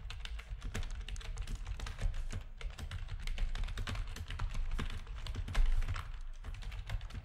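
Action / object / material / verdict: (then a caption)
tap / plastic computer keyboard / plastic / none. Fingertips of both hands type rapidly on a full-size black plastic backlit RGB gaming keyboard with a hollow housing. A steady, dense stream of short, clacky key presses carries a strong low thump beneath bright click transients. The keystrokes blur into a busy, hollow-sounding typing rhythm with occasional louder hits.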